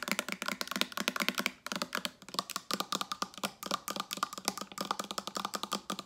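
Long acrylic nails rapidly tap a hollow, medium blue-tinted Maui Moisture plastic hair oil spray bottle with a gold pump cap, held in the hand. The result is a dense run of sharp, bright, clicky taps that die away instantly, with a couple of brief pauses between bursts.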